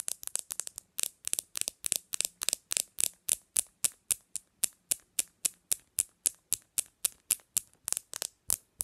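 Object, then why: Smartphone with glass screen. Long nails tap quickly on the glass screen of a black smartphone resting on a pillow. The result is a rapid, fairly steady run of sharp, dry clicks that are very bright and thin, with almost no low end and no ring after each tap. The first second is a quicker flurry, then the taps settle into a regular pace.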